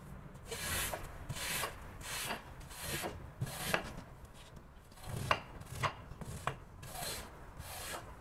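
A long-handled squeegee scraper is pushed and dragged across the pile of a flat, damp, octagonal patterned woven rug lying on a plastic sheet. Each stroke makes a bright, rasping swish with a low scrape beneath it, and the strokes repeat steadily, with a few sharper scratchy accents.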